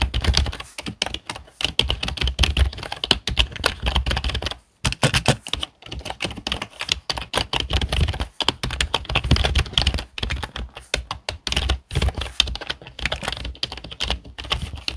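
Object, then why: Plastic desktop keyboard. Fingertips of both hands type rapidly on the keys of a full-size black plastic desktop keyboard. The result is a steady, dense stream of short, sharp clicking keystrokes with a few brief pauses along the way.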